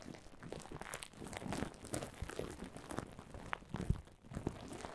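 Long silver nails scratch and press across a heap of clear plastic bubble wrap, making a continuous, dense crinkling texture. Soft rustles are dotted with short, sharp clicks and crackles that die away almost instantly. The level stays fairly quiet, with a few louder pops standing out near the end.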